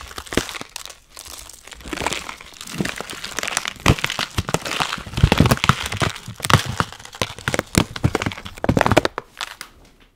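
A full plastic bag of dry Chinese noodles is turned over, crinkled and squeezed with gloved fingers, crunching the noodles inside. Dense, uneven crinkling and sharp, brittle crackles come in bursts across the whole clip, bright and crisp with a low thumpy body, easing off at the end.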